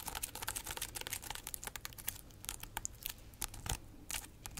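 Long acrylic nails scratch and tap the rough, segmented rind of a large, solid, whole fresh pineapple with its crown, held in the hands. The result is a quick, dense run of short, dry clicks and scratchy crackles with bright high-end texture and a faint low rumble underneath. Each tap dies away almost instantly.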